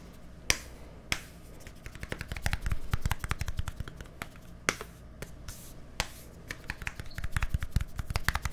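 A small, hollow white plastic deodorant stick with a green cap is held near microphones and tapped with fingertips and nails. It gives sharp, dry clicks that die away almost instantly over a steady low background hum. A few loud, spaced taps are broken up by quick, dense flurries of softer tapping.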